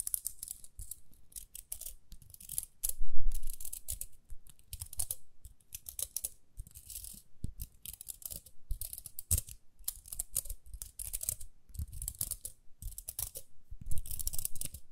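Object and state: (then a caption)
Plastic round hair brush. Long nails scratch and flick the plastic teeth on the toothed outer rim of a small, round, pink plastic hair brush with dark inner bristles. The result is a steady run of quick, bright, dry scratches and clicks in irregular bursts, with soft low thumps underneath. One burst near the start is louder.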